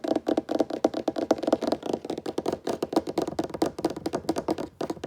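Fingertips tap fast and continuously on a wooden table top. About thirty short, dry, hollow knocks follow one another in an uneven rapid rhythm, each centered in the low-mid range around 300 Hz and dying away almost instantly.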